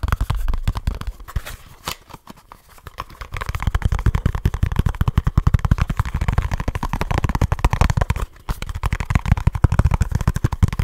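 A small kraft cardboard product box is tapped and scratched rapidly with fingertips and short nails, producing a dense stream of dull, low, hollow thuds with very short decay. The tapping eases into a quieter, scratchier stretch around the second to third second. It then builds back to fast, steady drumming with a brief pause just after the eighth second.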